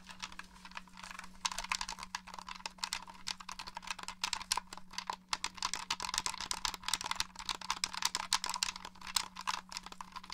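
Fingertips and nails tap and press the buttons and the top of the shell of a hollow black plastic Xbox One controller. Dense, rapid, bright clicks and taps continue throughout, over a faint steady low hum.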